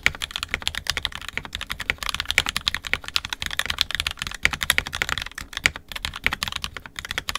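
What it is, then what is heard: Plastic mechanical keyboard. An NK65 Entry Edition 65% mechanical keyboard, with a purple plastic case, red and black plastic keycaps and lubed, filmed 67g Tangies switches, is typed on continuously with the fingertips of both hands. Steady, rapid, bright plastic clacks with very short ring centre around 2.3 kHz, over a faint low rumble.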